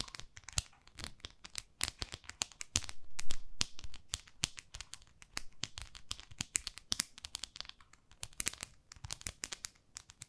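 Long nails scratch a small pink plastic facial cleansing brush pad held in the fingertips, making rapid, irregular scratchy clicks and crinkly crackles with bright, sharp edges. A louder, continuous rasping stretch comes around the third second before the quick taps and scrapes resume.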